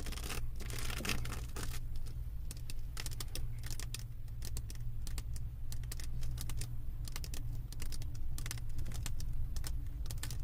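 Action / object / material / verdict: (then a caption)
tap / diamond painting canvas covered in plastic resin drills / plastic resin / none. Long acrylic nails tap and scratch rapidly over a flat diamond painting canvas covered in small plastic resin drills. They make a dense run of quick, bright clicks and scrapes, like fast typing, over a steady low hum.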